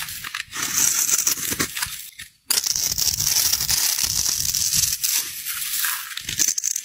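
A metal utility knife blade scrapes and carves the pre-scored end of a solid white rectangular bar of soap held in the hand, breaking it into small crumbling pieces. The sound is a dense, bright, crackly scraping and crumbling that runs almost continuously, with a brief pause just before the midpoint.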